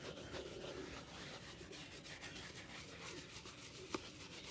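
A brown leather slip-on shoe, hollow and empty, is held upright over a wooden board and brushed briskly with an orange-handled bristle brush. The result is a steady, airy scrubbing hiss with bright, papery strokes, and one brief sharper tick comes near the end.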